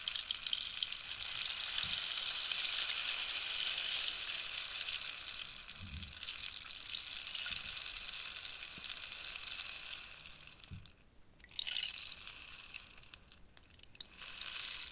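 A large, hollow, wooden dried-cactus rainstick, held by the fingertips, is tilted diagonally so its filling flows inside. It makes a bright, steady rain-like hiss that is loudest in the first five seconds and then settles softer. The flow briefly stops twice near the end and resumes each time.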